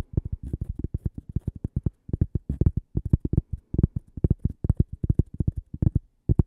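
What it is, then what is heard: Cork coaster. Long purple-painted nails rapidly tap and scratch the face and edge of a single thin, flat, solid cork coaster shaped like toast and branded 'Gibi', held in one hand. A fast run of soft, dull, low thuds sounds with no ring, each stopping instantly, with faint bright flecks from the nails.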